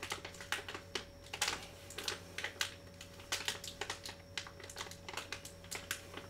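A small Vicks cough drop pouch made of metallized plastic foil and filled with drops is held close in both hands and crinkled and tapped with fingertips and short nails. The result is a rapid, uneven run of sharp, bright crackles and clicky taps that die away almost instantly, over a faint steady low hum and tone.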